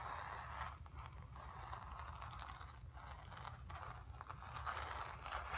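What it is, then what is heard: Painted stretched canvas being scratched. Long nails scratch the surface of a painted, stretched canvas. A steady, quiet, dry scraping texture centered in the midrange around 1.3 kHz runs throughout, with brief brighter scratchy strokes over a low rumble underneath.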